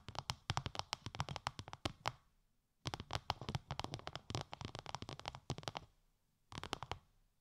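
Long light-grey nails tap on a translucent, bubble-textured plastic sheet wrapped over the ears of a 3Dio binaural microphone. Three bursts of rapid, crisp taps are separated by short pauses. Each tap is a dry, bright plastic click with a soft low thump and almost no ring.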